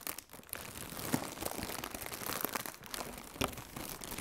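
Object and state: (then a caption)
Plastic air cushion packaging. Both hands with red-nailed fingertips squeeze and crinkle large, thin, hollow, air-filled blue plastic AIRplus shockproof air cushion packaging. The result is a steady, dense crinkling with bright, sharp crackles and a few louder pops.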